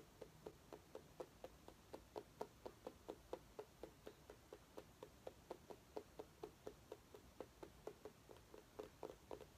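A small orange mini pumpkin with a green stem, which may be real or decorative, is held in one hand and tapped with the fingernails of the other. About 31 quiet, short, hollow-sounding taps with a mid-pitched knock (around 430 Hz) come at roughly two per second in a loose, uneven rhythm. Each tap dies away almost at once.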